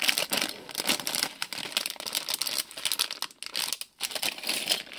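Hands crinkle, turn and shake a small printed plastic-film Lego Friends polybag with bricks inside. A continuous run of dense, bright crackling and rustling plays with almost no low end, broken by brief quiet gaps near the middle and end.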